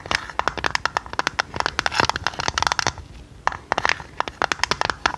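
Long red nails tap and scratch a hollow, printed purple tinplate tea canister with its lid on. About 29 quick, sharp clicks come in fast bursts, with a bright metallic tick near 910 Hz and very short ring. A brief scratchy pause falls around the three-second mark before the tapping resumes.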